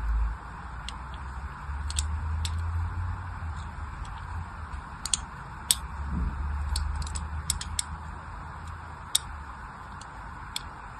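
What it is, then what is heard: Orange bar soap being scored with a blade. A fine blade cuts cross-hatch lines into a solid orange bar of soap held in the hand. Short, sharp, bright scratching ticks come at an irregular pace over a steady low rumble.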